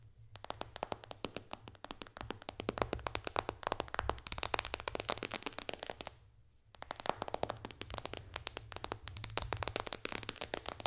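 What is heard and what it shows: Long dark fingernails tap quickly on the glass touchscreen of an iPad lying flat, with its white bezel showing. A dense run of sharp, bright clicks plays over a faint low hum, pauses briefly near the middle, then resumes just as fast.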